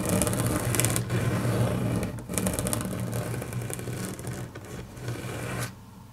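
Long natural fingernails tap and scratch across a large, flat, solid grey wood-grain laminate tabletop. Quick, irregular bursts of bright, crackly clicking and scraping ride over a steady low hum, then drop away to quiet near the end.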